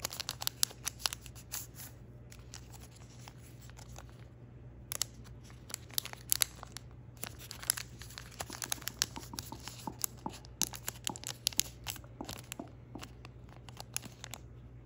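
Fingertips fold and crease the neck and tail of a thin patterned origami paper crane, shaping it by hand. The paper gives off dense, bright crinkling and sharp crackling snaps in quick bursts with brief pauses, over a faint steady low hum.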